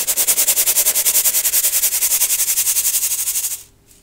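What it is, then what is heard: Metal mesh sieve sifting baking soda. A small gold metal mesh sieve filled with baking soda is shaken or tapped in rapid bursts over a clear plastic bowl to sift the powder. It makes a bright, hissy, crunchy rustle in fast, even pulses. The sifting stops abruptly at about 3.6 seconds, leaving near silence.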